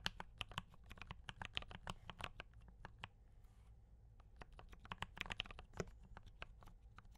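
Fingertips of both hands type on a D84 mechanical keyboard with brown switches and cream and red plastic keycaps. Quick, dry clicks with bright tops and a soft low thump come in a steady stream, ease into a quieter stretch around the middle, then pick up again. Each keystroke dies away almost instantly.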